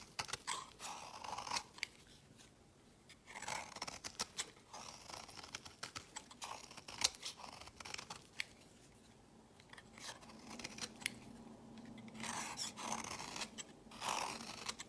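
A solid, opaque purple oval bar of soap is held in the hand and scraped and shaved with a utility-knife blade. Bright, crisp scraping and shaving strokes come in quick, dry bursts, separated by short quiet pauses.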